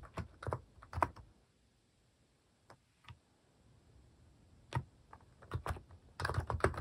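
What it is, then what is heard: Plastic mechanical keyboard. Fingertips type on a cream plastic mechanical keyboard fitted with plastic cat and paw keycaps. Short, deep, muted key clacks come in quick bursts, thin out to a few single taps during a quieter middle stretch, then pick back up into a denser run of typing at the end.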